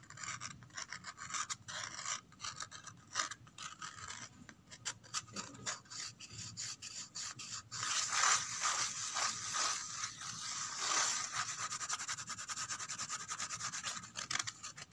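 Long red-painted fingernails scratch and tap along the ridges on the flat inner surface of a white-grey corrugated cardboard box. The result is a dry, bright, rasping scratch made of quick, uneven strokes, with almost no low end. The scratching grows denser and louder from about 8 seconds on.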